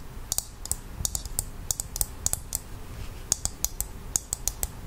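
A hollow, empty half of a dried coconut shell is held in the hands and tapped with long acrylic nails. About nineteen sharp, bright clicks fall in quick, uneven bursts. Each dies away instantly over a faint low background rumble.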